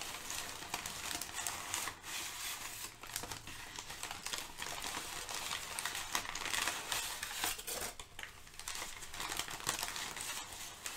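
Fingertips and nails crinkle and shift crumpled sheets of thin brown kraft packing paper. The result is a steady, irregular stream of dry, bright crackles and rustles, with brief louder snaps scattered throughout and very little low end.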